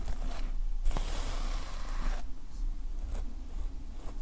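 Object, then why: Plastic sequin fabric notepad cover. Fingertips rub and scratch the plastic sequin fabric cover, black side up, of a closed notepad lying flat. A long, bright, rustling scrape builds from about one second to just past two seconds, followed by a few shorter, lighter scratches over a steady low rumble.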